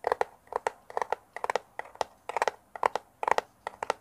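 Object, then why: Small cardboard box. A small, hollow brown kraft cardboard box, held in both hands close to a mini microphone, is scratched and tapped with fingernails. Quick clusters of dry, papery taps and scrapes sit mostly in the midrange, with short bright edges and almost no low end. Each sound stops dead with no ring.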